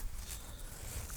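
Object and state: Nothing is struck.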